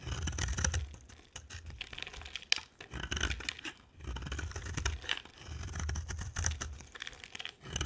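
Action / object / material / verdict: scrape / bar of soap / soap / none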